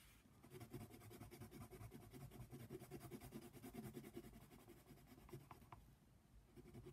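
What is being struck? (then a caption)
Colored pencil on a paper page. A hand colors a giraffe's mane with a brown colored pencil on a paper coloring book page lying flat. The pencil lead makes a soft, continuous scratching on the paper in quick, steady back-and-forth strokes. The sound is quiet and mostly low and dull, with little bright content.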